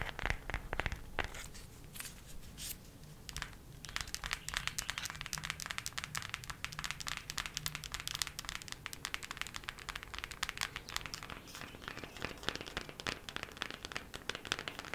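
Long nails tap quickly along the edges and cover of a thin cardboard eyeshadow palette held edge-on. The result is a dense stream of dry, crisp clicks and crinkly scratches that are bright and short, with no speech.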